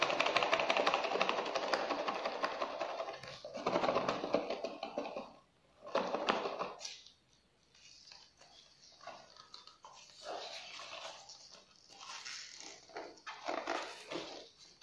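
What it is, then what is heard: Cardboard snack box. A small, closed, printed cardboard box of Collon biscuits is held in black-gloved hands and rotated while gloved fingertips tap and scratch its surface. Dense, papery scratching fills the first few seconds, followed by a short burst, then softer, scattered taps and scrapes with brief pauses between them.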